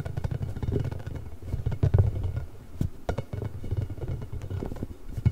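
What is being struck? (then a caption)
Inflated rubber spiky ball. A large pink hollow inflated rubber ball covered in nubs is held near the microphone while nails scratch it and fingertips rub over it. A deep, muffled rubbing rumble carries throughout, broken by many quick, dry scratching clicks and soft taps along the bumpy surface.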